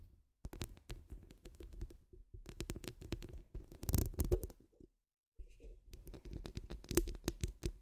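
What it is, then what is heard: Metal mesh microphone grille being scratched. Long acrylic nails scratch rapidly across a hollow steel mesh microphone grille, making a dense stream of dry, crackling ticks with a heavy low, muffled thump. The scratching pauses briefly about halfway through, then resumes just as thickly.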